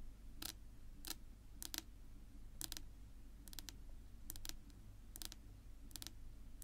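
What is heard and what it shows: Long pink nails tap and scratch a flat, solid, dark wood-grain tabletop, making short, bright, dry clicks in irregular pairs and small clusters over a steady low hum. Each click stops at once with no ring.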